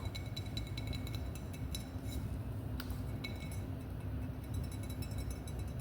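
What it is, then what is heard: Glass wine bottle. Light clinking taps on a glass wine bottle, repeated in a quick, uneven series of bright, ringing ticks. The taps sit over a steady low hum.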